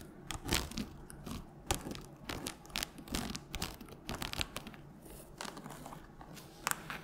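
Long nails scratch along the cover and page block of a solid red hardcover book. The result is a quiet series of dry, papery scratching and crinkling bursts with a bright, hissy edge and very short decays.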